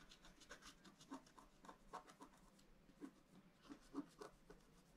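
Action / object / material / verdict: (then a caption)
scrape / scratch-art paper sheet with wooden stylus / coated paper / none. A pointed wooden stylus scratches lines into the coating of a thin black-coated scratch-art card lying flat on a table, held down by one hand. Quiet, dry, bright scratching strokes come in a quick, uneven series of about three to four per second, each short and raspy with no ring.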